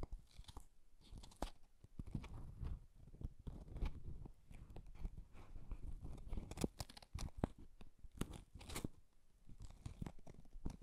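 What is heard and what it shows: A small, hollow, folded Japanese paper box with a floral pattern is held in both hands while fingertips tap and rub its lid and sides and handle its folded top. The result is a steady run of soft, dry crunching and crinkling with quick, sharp taps throughout, mostly low and muffled in tone.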